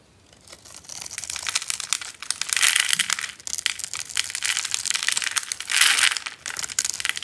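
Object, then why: Bar of soap cut into cubes. A hand-sized, solid bar of yellow dry soap, pre-scored in a cube grid and held in the palm, is crunched apart with a metal blade into small cubes. Dense, dry crackling and crisp crunching fill the clip, bright and high with almost no low end. The crunching swells loudest around the third and sixth seconds.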